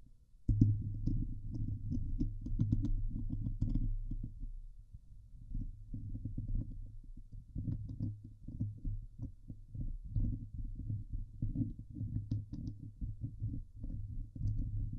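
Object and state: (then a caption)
Metal mesh microphone grille being scratched. Long nails scratch the hollow steel mesh dome grille of a Blue Yeti microphone. After an abrupt start, the sound becomes a dense, rough, low rumbling scrape with a steady hum near 105 Hz and faint bright crackles. It dips briefly around the middle, then continues scratching to the end.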